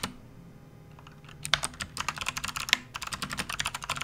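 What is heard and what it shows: A full-size, RGB-backlit plastic membrane gaming keyboard resting on a desk mat is typed on fast and continuously with the fingertips of both hands. After about a second of near silence, a quick run of around 17 short, bright, clacky key presses follows, with two sharper, louder strikes standing out. Each press cuts off almost instantly with no ring.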